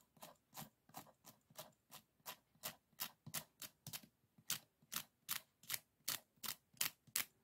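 Fingernails flick and scratch across the rib ends of a closed bamboo folding fan, a folded hand fan with painted paper and a thick stack of bamboo ribs. About 20 short, bright, scratchy clicks follow at a fairly steady, slightly uneven pace, each dying away almost at once with almost no low end.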